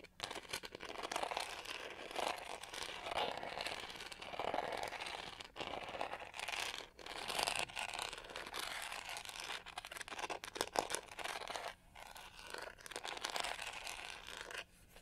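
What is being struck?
Plastic hairbrush back with studded texture.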